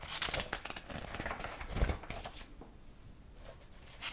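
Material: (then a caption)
Paper. Fingertips turn the yellowed, illustrated paper pages of a large old hardcover book with a dark cover, held open. Soft, bright paper flicks and rubbing rustles come in dense bursts, with a slightly fuller thump near the middle. The sound then quiets to faint brushing before a final flick at the end.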